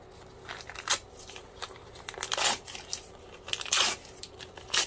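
A crumpled white paper sheet is held in both hands while the fingertips tear and crinkle it. Dry, bright crackling and rustling rises into several short, loud ripping bursts, with almost no low end.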